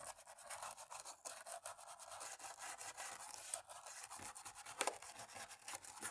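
A cotton-tipped stick rubs rapidly back and forth in the key gaps of a black plastic laptop keyboard. The result is a steady, dry scratching texture that is bright and airy, with many quick, closely spaced strokes that blur together rather than separating into distinct hits.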